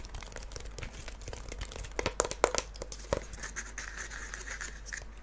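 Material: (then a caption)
Faux leather. A small, hollow wooden mini treasure chest with a dark red faux-leather surface, metal studs and a latch is held in both hands and tapped and scratched with fingertips and nails. Soft, dense crinkly scratching runs throughout over a faint low hum. A few sharper, brighter taps stand out around the middle of the clip.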